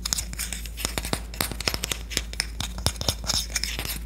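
Long nails tap and scratch the bowl and handle of a solid red-lacquered Korean wooden spoon, producing quick, bright clicks and dry scratching bursts. The taps are short with almost no ring, over a steady low hum.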